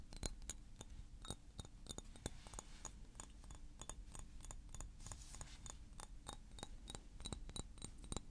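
Fingernails tap rapidly and irregularly on a small blue glass perfume bottle with a silver cap held in the hands. Each tap is a short, bright click with a high glassy ping that dies almost instantly. A steady low rumble sits underneath throughout.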